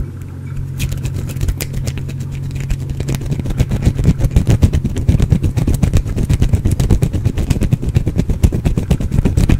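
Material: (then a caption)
Soap. A small, solid, partly carved green bar of soap is scratched with the fingernails close to the microphone. Rapid, uneven scratching strokes start softly over a steady low hum, then grow denser and louder after a few seconds, with the sound mostly heavy and low rather than bright.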